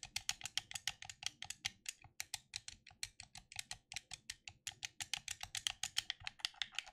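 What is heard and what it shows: Fingertips tap and click the buttons of a black plastic gamepad held in both hands. About 43 quick, dry, bright clicks come in a steady rapid run and stop instantly, with no ring and almost no low end.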